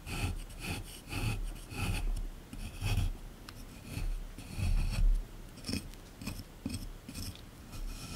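A small chisel scrapes along the surface of a solid plaster excavation block sitting in a tray. It makes a series of repeated rasping strokes, with gritty bright scratching over a dull low thump from the block and tray.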